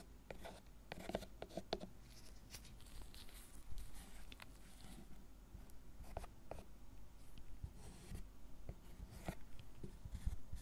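A gloved hand carves and scrapes the surface of a solid, tablet-sized milk chocolate bar lying on a wooden cutting board, using a thin metal carving tool with a wooden handle and raising curled shavings. Quiet, dry scratches and short crisp ticks come in an uneven stream over a soft, low background hum.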